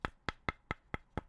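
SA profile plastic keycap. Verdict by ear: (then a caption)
Hollow. Six quick taps on an SA profile plastic keycap give short, dry clicks with a tonal peak near 1.3 kHz and a bright top. Each tap dies away almost at once, with no ring. Compared with a solid keycap, it sounds hollow and empty.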